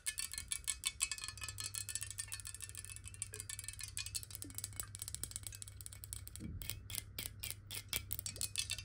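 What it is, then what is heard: Glass water bottle. Long nails tap fast on a clear square glass bottle filled with water as it is tilted and then set upright. The result is a rapid stream of short, bright, clicky taps with a faint glassy ring over a steady low hum.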